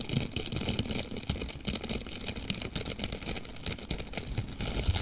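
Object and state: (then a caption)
Plastic mesh sponge being scratched and crinkled. A thin, palm-sized blue textured plastic mesh sponge cloth is held in front of a microphone without touching it while both hands stretch, fold and scratch it with long nails. The result is a dense, continuous crackling and rustling with rapid scratchy ticks, bright crinkle over a soft low rumble throughout.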